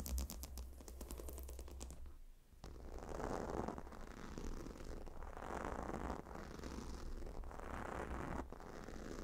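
Long nails scratch across the hexagonal stone tiles and leather rim of a gemstone hot stone pillow. A quick run of bright clicking scrapes opens the clip, then after a brief pause slower rasping strokes swell and fade repeatedly. A steady low hum sits underneath throughout.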